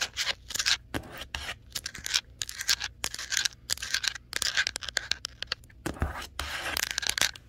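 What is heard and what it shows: Long nails scratch and tap over the printed text panel of a large, hollow printed cardboard TV box. Bursts of bright, dry scratching alternate with quick, sharp taps that die away almost at once. A faint low hum runs underneath throughout.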